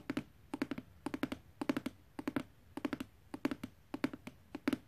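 Fingertips and nails tap on the clear plastic window and printed cardboard of a hollow retail box for an RC light-up hover ball, with the toy inside. Quick clusters of two to four short, dry taps with a hollow knock around 277 Hz fade almost instantly. The tapping stays soft and steady throughout.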